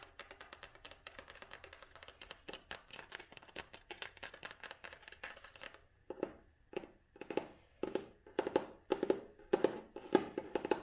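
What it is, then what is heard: Cloth-bound hardcover book. An old hardcover book with a red cloth binding and spine label is held in the hand and tapped and scratched with long nails. For the first six seconds, quick, soft, dense taps and scratches run together; after that, louder, more widely spaced taps land with a short, dull mid-range knock.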